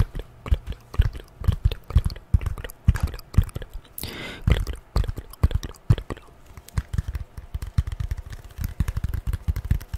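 A folded piece of corrugated cardboard, held close, is tapped and scratched with long nails. Rapid, dull, low thuds come in quick irregular bursts, with a brief dry scratching rasp partway through.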